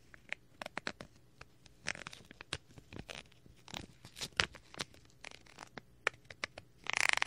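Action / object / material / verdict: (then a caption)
tap / plastic film packaging bag / plastic / none. A thin wooden stick taps and scrapes the film of a small clear plastic bag package with a printed paper or cardboard header card, held in hand close to a microphone. The result is a quick, uneven series of sharp, bright plastic ticks and short crinkly scratches, ending in a dense burst of crackling.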